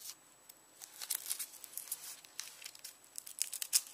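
Fingernails scratch and peel the dry, papery outer skin of a whole, solid, palm-sized yellow onion held on a bamboo board. Quiet, bright crackles and crinkly tearing come in rapid irregular bursts over near silence, with almost no low end and a faint steady high whine underneath.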